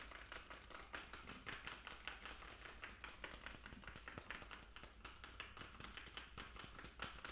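A small hollow plastic fish food jar with a blue plastic lid is held in the hands and tapped rapidly with fingertips and nails on the lid and sides. The result is a fast, uneven stream of short, bright, hollow clicks and taps with a plasticky tone around 1.5 kHz, over a faint steady low hum.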